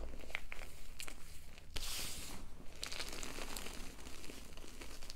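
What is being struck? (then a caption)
Block of gym chalk powder. Two hands with long nails squeeze, rub and crumble chalky clumps into a heap of white gym chalk powder. The result is soft, dry crinkling and crunching with many short bright crackles over a low steady hum.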